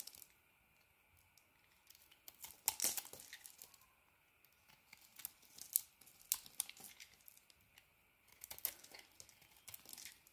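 A solid green and white bar of soap, held in the hand, is carved and scraped with a metal blade as flakes fall away. Quiet, bright, crisp scraping and crackling come in short bursts, with brief sharp snaps and near-silent pauses between strokes.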